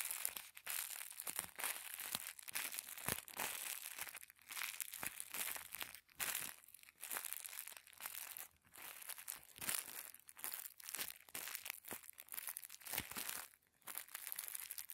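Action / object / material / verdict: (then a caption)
scrape / thin tissue paper sheet / paper / none. A small folded packet of thin white tissue paper is rubbed and crinkled between the thumbs. The result is a dense, bright, crackling rustle with almost no low end, moving in short bursts separated by brief quiet gaps.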